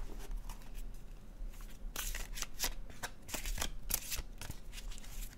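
A blue-edged, glossy cardstock paper oracle card deck is shuffled in the hands with the fingertips, the cards sliding and flicking against each other. Quiet, dry, bright riffling bursts stand out over a steady low hum.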